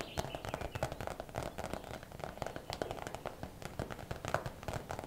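A clear plastic zip bag full of hair rollers, turned on its side, is tapped quickly with long nails. The result is a dense run of short, crackly plastic clicks with a hollow mid-range tone.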